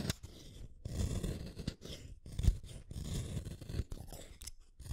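A red wooden colored pencil, a small solid stick, is shaved one at a time by the metal blade of a yellow plastic hand sharpener turned with long-nailed fingers, so the shavings curl off. A continuous scraping cut is heard as dense, low, crunchy grinding in repeated bursts separated by brief pauses, with a faint bright hiss over the top.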